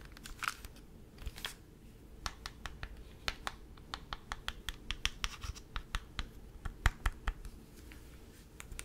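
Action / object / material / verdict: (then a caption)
tap / plastic handheld game console / plastic / none. A mint-green Nintendo DS, a small plastic clamshell console, is held open and then closed while fingertips and nails tap and scratch its plastic shell. Around thirty short, dry clicks and scratches land at an uneven pace over a low, steady background hum. Each tap stops almost instantly with no ring.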